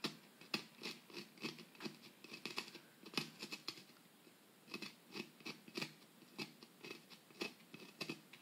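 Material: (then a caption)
Plaster. A metal pick scratches and chips into the solid plaster block of a dig kit, loosening powder and crumbs. The result is a quiet, uneven run of short, dry, bright scrapes and clicks with brief pauses. There is little low end and almost no ring after each stroke.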